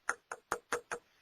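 A pole is knocked on five times in quick succession. Each knock is a short, dry rap with a midrange tone and a touch of brightness, dying away almost instantly.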